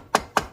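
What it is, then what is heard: Engine cover loosened, sealant bond broken. Two short taps from a dead blow hammer land on the primary engine cover of a Honda 420/500/520 to break its gasket-maker seal. Each is a dull knock centered around 1.1 kHz that dies away almost at once. The sound has changed because the seal has broken loose, and the cover is nearly ready to come off.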